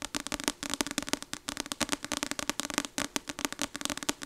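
Long acrylic nails tap rapidly on the glossy card front cover of a paperback novel, "Icebreaker," with a solid paper block, held up in one hand. The result is a fast, uneven stream of sharp, dry clicks with a bright, crackly edge and a faint hollow tone underneath, each tap dying away almost instantly.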